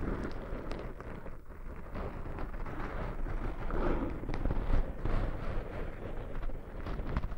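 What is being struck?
Foam microphone windscreens.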